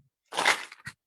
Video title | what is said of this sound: Pirkei Avos - Character Traits From A Torah Perspective - Rabbi Majeski (12 kislev 5782) | this pushka has coins in it. It's noise.